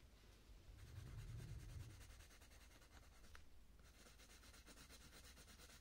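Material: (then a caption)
Paper. A purple coloured pencil rubs and scratches across the thin paper page of a colouring book while shading the centre of a flower. The sound is a soft, continuous scratchy rubbing with rhythmic strokes and a low rumble that swells in the first two seconds. Bright, grainy texture runs over the top throughout.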